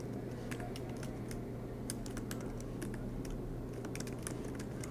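Both hands type continuously with their fingertips on the black plastic low-profile keys of a MacBook Pro laptop with a silver aluminum body, resting on a green desk mat. Rapid, light key taps give sharp, bright clicks over a steady low hum.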